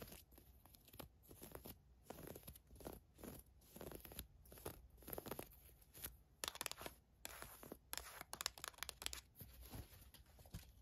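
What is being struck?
Thin woven fabric camisole.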